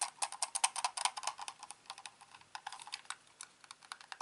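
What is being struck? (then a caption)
Plastic computer mouse. Fingertips tap and scratch the top and underside of a hand-sized, hollow, black plastic corded computer mouse that has been turned over. The result is a quick, uneven run of dry clicks and taps. They are crisp and bright, centered around 1 kHz, with no low end, and each dies away almost instantly.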